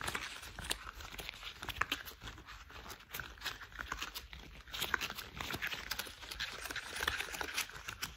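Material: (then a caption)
Rubber. Gloved fingers in worn, thick cream rubber household gloves are rubbed and squeezed together, making quiet, bright rubber squeaks and crinkling scrapes. The dense, uneven friction sounds continue throughout, with little low end.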